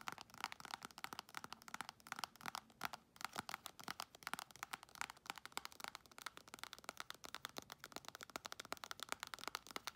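Long nails rapidly tap and scratch the surface of a full-looking, squeezable plastic tube of Palmer's cocoa butter hand cream. The result is a dense run of quick, dry, crinkly clicks and scrapes with a bright mid-high tone and almost no low end.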